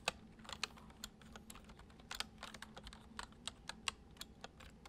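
Fingertips tap the keys of a white plastic computer keyboard in gentle, steady typing. Each keystroke is a short, bright click that dies away almost at once, over a quiet, faint low hum.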